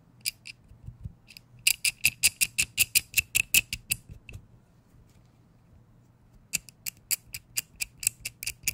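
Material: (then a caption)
Metal. A small adjustable wrench with a green grip and metal head has its jaw mechanism turned and fiddled with by fingers close to the mic. About 28 sharp, bright metallic clicks come in quick bursts, with a quiet pause of roughly two seconds in the middle. Each click is very short with almost no ring.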